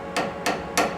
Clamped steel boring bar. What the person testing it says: you hear how that sounds nice and rigid